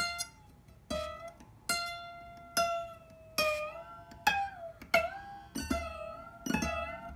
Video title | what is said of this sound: The ping test - how to check your locking nut is working - Epiphone Alex Lifeson Les Paul Axcess | all these pitches are, they're dropping like rocks, right? Because this thing is moving